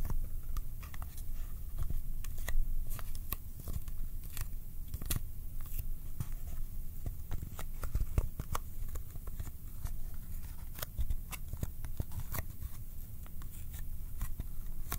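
Fingertips tap in a quick, irregular stream across the faces of a small, hollow Kodak ColorPlus cardboard film box held in both hands. Each tap makes a soft, sticky, tacky click over a dull, low hollow thump. The taps die away almost at once, with no ring.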